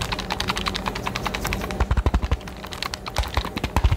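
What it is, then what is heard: Hollow cardboard box tapped and scratched. A small, hollow, rectangular cardboard retail box for a Nintendo Switch game card case is held in both hands in front of the microphone and tapped and scratched with fingertips and nails. Rapid, dry tapping mixes hollow, low thumps with bright, clicky edges, over a faint scratching rustle. Bursts of louder taps cluster near the middle and end of the clip.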